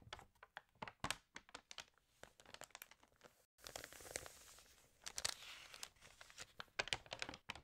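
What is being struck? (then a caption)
Glossy paper magazine pages. Fingertips turn and crinkle the pages of an open, water-damaged glossy paper fashion magazine. Quick, bright crackles and crisp snaps stop in a brief silence near the middle. A denser, hissing rustle follows as a page is turned, then more sharp crinkles close the clip.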